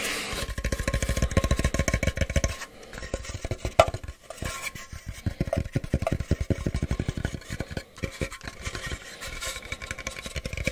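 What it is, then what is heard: Cardboard box, hollow. A plain, medium-sized, hollow brown kraft cardboard box is held in one hand and tapped and rubbed with the fingers. Rapid, dull, hollow taps with little ring flow in quick bursts, with a short pause and one sharper knock near the four-second mark. Soft, scratchy rubbing runs between the taps.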